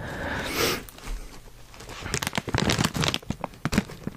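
Hands grip a sealed, puffy and full foil-lined plastic Cheetos chip bag, crinkling and tapping it. A broad rustling swell opens, then softer handling, followed by a rapid run of sharp, bright crinkles and taps with a low thump beneath them.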